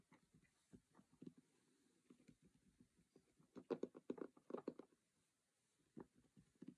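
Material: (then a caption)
Cardboard. Fingertips and nails tap and scratch across the white-and-red printed lid and along the edges of a closed cardboard Monopoly game box. Soft, dry, irregular taps and scratchy brushes cluster in the low-mid range, with a denser, louder run in the middle before the sound thins out and picks up again near the end.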